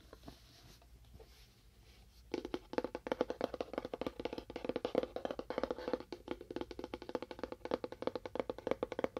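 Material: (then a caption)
Cardboard. A small, hollow, empty-looking rectangular cardboard box with a wood-grain print and a small label is held close and tapped with fingernails and fingertips. After about two seconds of faint, sparse taps, quick irregular tapping takes over. Each tap is short and hollow, with a wood-block-like tone centered around 500 Hz.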